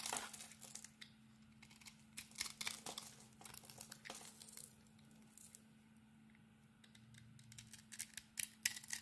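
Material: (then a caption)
Soap. A small metal blade scrapes and carves flakes off a rectangular solid soap bar, coated in pink glitter with embossed lettering over a cream core and held in a hand with red nails. The result is quiet, irregular bursts of bright, crisp scratching and crackling, like fine tearing. A faint steady low hum runs underneath.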